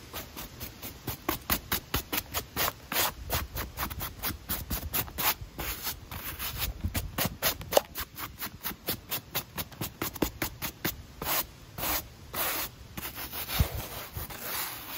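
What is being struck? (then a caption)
Knit-mesh running shoe with foam sole. A stiff-bristled cleaning brush scrubs back and forth across the sole and upper of a hollow, empty black knit-mesh Nike running shoe with a white foam midsole, held in one hand outdoors. Dozens of quick, dry, bright scratching strokes follow one another in a steady rhythm. They run together into a denser rubbing hiss toward the end.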